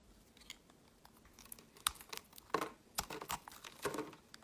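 A metal utility-knife blade shaves and carves flakes off the surface of a solid, palm-sized, pink marbled Palmolive bar soap held in the hand. Quiet, dry scraping and crisp crackly cuts come in short, irregular bursts with a bright, crinkly texture. Each cut ends abruptly with no ringing.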